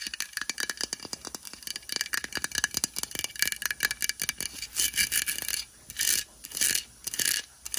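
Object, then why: Plastic decorative pumpkin. Long white acrylic nails tap rapidly on an orange hollow plastic craft pumpkin with white "WITCH better have CANDY" lettering, lying on a fleece blanket. The taps are dense, clicky and bright with almost no ring. Near the end they give way to a few longer scratchy bursts separated by short pauses.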